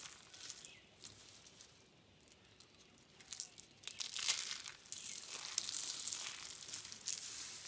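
Fingers and hands crush and crumble a pile of brittle, dry yellow, orange and blue soap curl flakes. The result is a dense, bright crackling and crunching with almost no low end. It stays soft for the first few seconds, then grows louder and busier from about the four-second mark.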